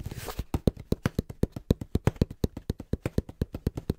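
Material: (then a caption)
Cardboard. Fingertips tap quickly and rhythmically on the face and top edge of a small, hollow brown cardboard box held in both hands. After a brief rustling start, about thirty short, dull, low thuds follow at roughly four per second, each dying away almost at once with little high content.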